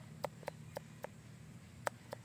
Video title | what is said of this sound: How to determine if durian is ready for harvesting | Pag ganito na yung tunog, parang hollow na yung ano niya. Yan, hinog na yan.